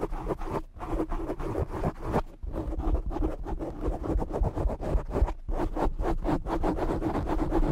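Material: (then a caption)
Foam. Short nails on both hands quickly scratch the black foam windscreen of a desk microphone. The result is a dense, irregular run of rough, muffled scratching bursts, heavy in low rumble with a faint buzz. There are brief dips in the scratching near 0.7 s, 2.3 s and 5.4 s.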